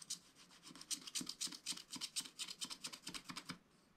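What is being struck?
Scratch-art paper scraped with a wooden stylus.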